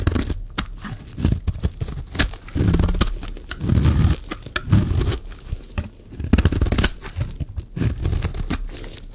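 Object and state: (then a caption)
Dry bar soap being scraped. A blade scrapes across the surface of a solid, dry yellow bar of soap, shaving it down as the shavings fall. Repeated low, dense scraping strokes with crisp, bright crackles rise and fade across the clip.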